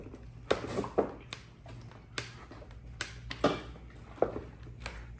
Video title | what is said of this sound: I Bought a Clapped Out Yamaha TTR 230 | Shake the bike. Sounds like there's fuel sloshing around in the tank.